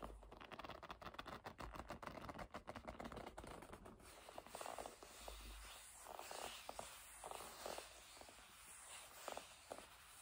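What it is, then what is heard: Leather bag being rubbed and squeezed. Fingertips and long nails rub and squeeze a hollow black leather bag. Quiet, rapid scratchy tapping and rubbing fills the first few seconds, then gives way to slower, softer squeaks and creaks of gripped leather in the mid range.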